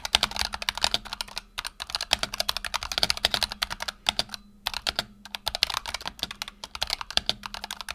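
Fingertips of both hands type rapidly on a black tenkeyless Razer Huntsman Tournament Edition keyboard with PBT plastic keycaps and optical switches, resting on a desk mat. The result is a fast, uneven stream of short, bright, dry clacks that stop abruptly, with a few brief pauses between bursts and a faint low hum underneath.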